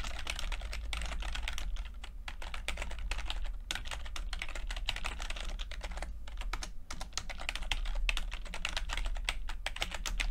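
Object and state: Plastic computer keyboard being typed on.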